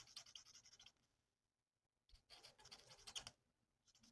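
The felt nib of a plastic alcohol marker rubs over a thin, flat sheet of printed paper on a table in rapid back-and-forth strokes. Quiet, bright, scratchy rasps come in two runs separated by a short silence, with a few more strokes starting again at the end.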